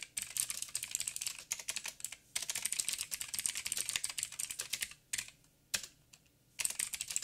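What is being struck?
Mechanical keyboard with plastic keycaps.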